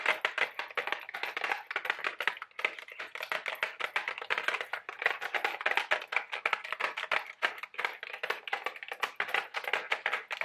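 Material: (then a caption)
Cardboard. A small printed-cardboard Mike and Ike Buttered Popcorn candy box, likely full, is held in both hands and rapidly tapped with long, sharp orange acrylic nails. Dozens of quick, dry, crisp clicks with almost no low end and very short decay, centred around 1.9 kHz with bright high edges.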